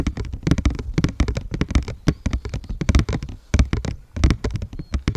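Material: Paper.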